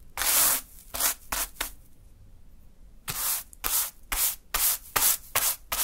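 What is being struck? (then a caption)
Fine sand swept by a natural-fibre hand broom. A small natural-fiber hand broom sweeps a small heap of fine pink sand across a dark surface. It makes a run of short, bright, hissy brushing strokes, then a pause of about a second, then a steadier burst of strokes. Each swish stops quickly with almost no low end.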